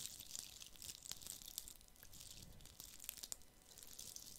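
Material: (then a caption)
Plastic, glitter. A fist-sized, hollow plastic Christmas bauble coated in red glitter is held in one hand and scratched with fingertips and nails. The result is a quiet, bright, crackly scratching, sprinkled with many sharp little ticks and clicks that die away almost at once.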